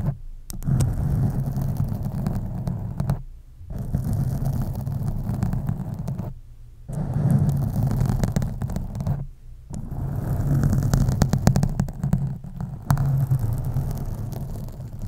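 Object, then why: Foam microphone windscreen. Fingernails scratch both sides of a black foam microphone windscreen, producing a dense, low rumbling rustle with steady scratchy texture. The scratching comes in long stretches separated by brief near-silent pauses.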